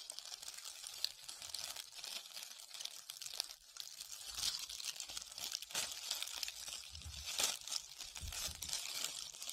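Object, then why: Foam ball coated in glitter or beads. Long red-painted nails scratch and rub a solid, hand-sized white foam ball covered in glitter or beads while it is cupped in both hands. The result is a quiet, continuous stream of dense, bright crinkling and crunchy scratching with almost no low end, swelling slightly louder in the second half.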